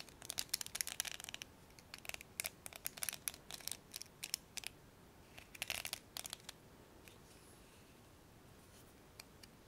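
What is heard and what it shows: Fingers pluck and scratch the black plastic pins of a blue hairbrush, making quiet, bright, crackly clicks and rasps in dense bursts. Over the last few seconds they thin to a few sparse, sharp ticks with almost no low end.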